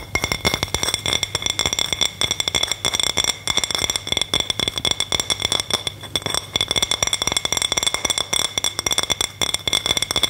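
A round white plate printed with a Christmas gnome is held upright in both hands while long manicured nails tap and scratch its face and rim. Dense, rapid clicks and scratchy tapping run throughout with a bright, high tone and very short ring, with little low end.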